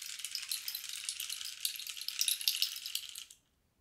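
A long, hollow cactus-wood rain stick is tilted back and forth with both hands, sending its pebble filling trickling and rattling inside. The sound is a dense, bright, hissing patter with a few sharper clicks, and no low end. It runs steadily for just over three seconds, then quickly fades to silence.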